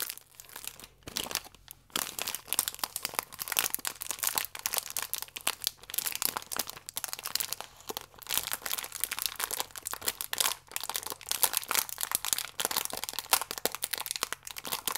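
A small Gran Cereale biscuit pack in a thin printed plastic wrapper, full of round oat biscuits, is held in both hands and crinkled and squeezed with fingertips and long nails. Dense, bright crackling and crinkling runs almost continuously for the whole clip, with brief near-silent gaps around one and two seconds. There is very little low end.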